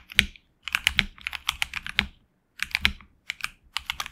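Fingertips of both hands type on a HyperX Alloy Origins Core, a tenkeyless mechanical keyboard with HX Red switches and PBT plastic keycaps on an aluminum plate in a hollow case. Quick bursts of bright, clacky keystrokes with very short decay are separated by brief pauses.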